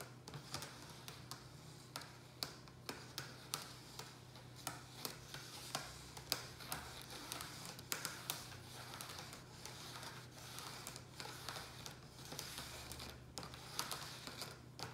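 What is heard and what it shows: Fingertips and nails tap and scratch the sides of a hollow black plastic rectangular takeout tray holding a ceramic pot. The result is a quiet run of quick, bright, clicky taps with short scratchy strokes over a steady low hum.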